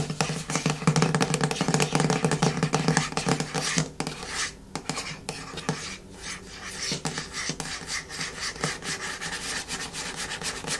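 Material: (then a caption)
Plastic. A medium yellow plastic hair-mask jar is gripped with both hands while long nails scratch its ribbed plastic side and lid rim. The result is a fast, uneven run of dry, rasping scratches that are loudest and densest for the first four seconds, then continue as softer, more scattered scrapes.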